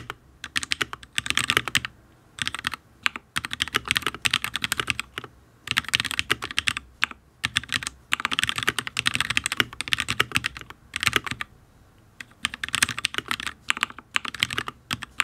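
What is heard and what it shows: Fingertips of both hands type on a full-size HyperX Alloy Origins RGB mechanical keyboard with Fire switches and ABS keycaps on a steel plate, in fast bursts of repeated taps separated by short pauses. Each keystroke is a crisp, bright clack with almost no ring and little low end, and the board sounds solid.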